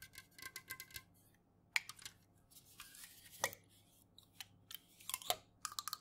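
Long fingernails tap and scratch the bare aluminum bottom and rim of an unopened, full Jumex metal juice can held in the hands. The result is a quick, irregular series of bright, thin clicks and scratchy rasps that stop dead with no ring, over a faint steady low hum.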